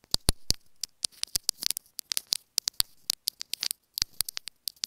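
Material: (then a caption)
Plastic. Long acrylic nails tap and scratch rapidly on a small, hollow, white plastic inline remote with a built-in mic on a white earphone cable, held in one hand. Because the remote is the microphone itself, each contact comes through directly as a sharp, bright click or brief scratchy rasp with almost no ring. Quiet noisy gaps separate the irregular bursts.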